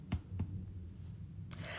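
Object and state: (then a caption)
Hollow-sounding, fully baked bread loaf. The top of a freshly baked white bread loaf, just out of the oven after 30 minutes at 180 °C, is tapped twice, giving two short, dull, low-pitched thuds with almost no ring. A faint broadband rustle follows near the end. The loaf sounds hollow, meaning it is fully baked.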